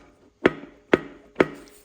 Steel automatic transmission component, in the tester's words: Yep, that sounds like metal.